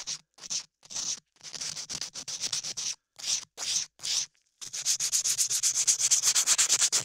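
A latex-gloved hand rubs a small sanding block or sandpaper over an ear-sized piece of solid beige modeling clay sculpted onto the ear of a 3Dio binaural microphone. The result is bright, hissy rasping strokes, first in short separated bursts with pauses, then, after a brief silence, a faster, steadier run of back-and-forth scrubbing.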